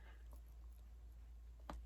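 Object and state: Securely packed shipping box, no rattle.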